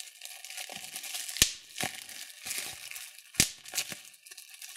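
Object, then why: Plastic bubble wrap sheet. A large sheet of clear plastic bubble wrap is pinched and popped between thumbs and fingertips. Two sharp, bright pops stand out above a steady, crinkly rustle of the plastic, with softer pops scattered in between.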